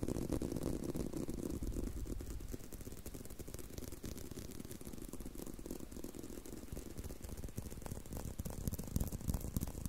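A leather belt is tapped and handled, producing a steady stream of quick, dull taps with soft rattling, ratchet-like clicks in between. The sound sits mostly low and muffled, and each tap dies away almost at once.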